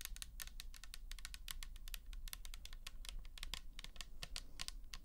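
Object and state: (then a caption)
Plastic toner bottle. Long nails tap quickly and repeatedly up close on the side and label of a pink plastic toner bottle filled with liquid. Each tap is a short, bright click over a steady low hum.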